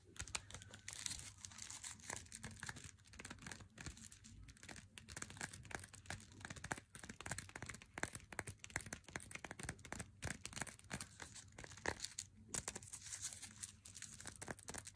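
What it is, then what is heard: Cardboard chocolate box. Long nails scratch and tap the back label and thin side edge of an unopened Lindt Swiss Classic flat cardboard chocolate box held in the hands. The result is a dense, continuous stream of quick, dry clicks and crinkly, bright scratching, with short sharp taps over a faint low hum.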